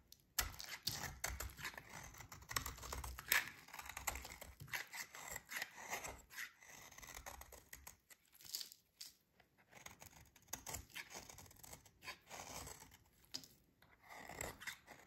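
A metal utility blade scrapes and shaves the surface of a solid, dry green oval soap bar held in the hands, cutting off crunchy shavings. Quiet, rapid, crisp scraping and crackling strokes come in bright, dense bursts with brief pauses and almost no ring.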